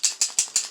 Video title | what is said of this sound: Using touch up pens to paint gun sights | you can hear like a paint cam there's a little probably little bearing in there that's going to Rattle